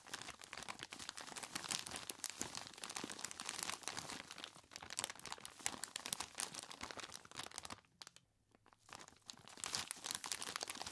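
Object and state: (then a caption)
Plastic bag of ice cubes. Gloved hands squeeze and rub a large clear plastic bag, tied at the top and full of ice cubes, crinkling the plastic and crunching the ice inside. A dense, bright crackle of rapid crinkles and crunches runs throughout. It drops to near silence around the eight-second mark, then resumes.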